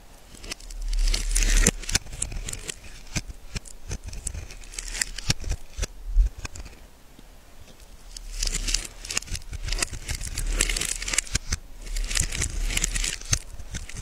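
A hand-sized, cream-colored solid bar of soap held in the hand has its surface scraped into flakes with a small metal blade held in a gloved hand. Bursts of dry, bright scratching and crackling come in waves, made of many quick ticks over a faint low rumble.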